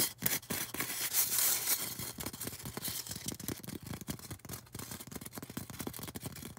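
Long orange nails scratch and tap a solid white polystyrene foam cone, making bright, dry scraping and squeaky rubbing with a stream of quick, irregular taps. The sound stays mostly high and airy with a thin low thump under each tap, and the scratching is loudest and densest near the start.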